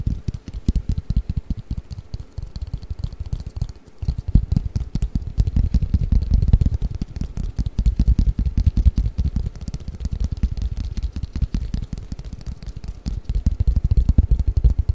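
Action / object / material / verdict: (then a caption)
tap / long flat cardboard game box / cardboard / none. A long, flat, hollow cardboard Mikado pick-up sticks box is held above the microphone and tapped and scratched with fingertips and nails. The result is a dense, continuous stream of soft, rapid, very low, boomy thumps with faint scratchy texture, pausing briefly near four seconds before growing louder again.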